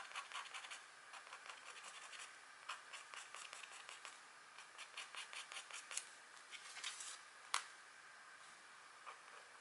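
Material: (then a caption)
Wax coating. A pointed stylus scratches the coating of a flat, thin black wax-coated scratchboard card as a deer drawing is etched into it. Quiet, dry, bright scratching comes in quick bursts of short strokes with brief pauses between them, and one sharper scrape stands out near the end.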